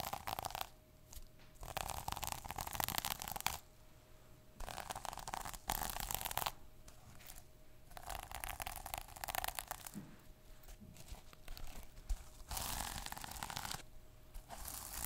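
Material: Plastic.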